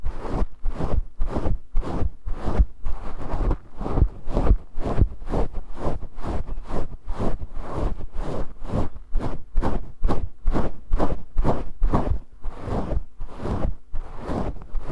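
Fingertips scratch the fluffy grey faux fur windscreen on a handheld microphone in quick, repeated strokes. Each stroke makes a dense, rustling burst with heavy low-end rumble and a soft, breathy top. The strokes run steadily and somewhat unevenly for the whole clip, with no talking.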